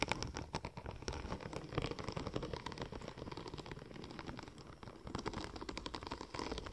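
Long nails tap and scratch across the raised pattern of a curved, silver checker-plate-pattern vinyl wrap film. The result is a dense, continuous run of quick, dry clicks and scratchy rustling with a soft, pattering texture.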